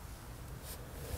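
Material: Nothing is struck.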